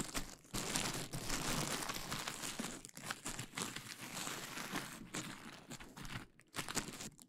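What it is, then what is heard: Plastic bubble wrap being crinkled and popped. A large sheet of clear plastic bubble wrap draped over the mic is pinched, popped and crinkled by fingertips and nails. Dense, irregular crackling and sharp pops fill the clip with bright, broadband texture, briefly dropping away near 0.5 s, 3 s and 6.4 s.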